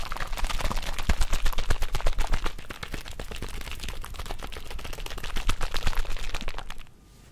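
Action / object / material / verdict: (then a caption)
shake / small plastic drink bottle with liquid / plastic / none. A small plastic Mio drink bottle with liquid inside is held in the fingers and shaken rapidly close to the mic, making a fast stream of sharp clicks and sloshing taps over a low, thumping rumble. The shaking is loudest at the start, eases to a steadier, quieter rattle midway, then builds again before stopping abruptly near the end.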